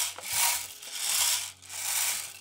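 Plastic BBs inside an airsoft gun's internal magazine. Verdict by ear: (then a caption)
Loose. Loose plastic BBs rattle and roll inside the internal magazine of a VFC/Umarex HK MG4 0.5-joule airsoft AEG with a Mosfet as the gun is shaken, because nothing guides the BBs or holds them down with a spring. The sound is a bright, hissy clatter that rises and falls in three broad swells with almost no low end. The loose rolling BBs are judged a poorly executed design flaw.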